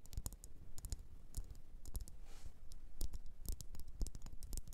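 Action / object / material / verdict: tap / wax pillar candle tapped with fingernails / wax / none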